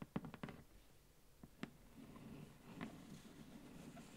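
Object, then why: Cardboard box in plastic wrap. Long orange nails tap on the front of a large, flat, hollow cardboard advent calendar box in plastic shrink wrap. There are seven short, dry, quiet taps: a quick cluster at the start, then a few spaced-out taps, each with a dull low thump and a brief crisp click. A soft hiss fills the gaps between them.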